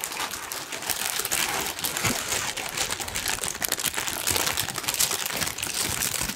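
A large, thin pink tissue paper sheet is crumpled and rubbed with fingers. It gives a continuous, dense, bright crinkling with many small crackles and almost no low end.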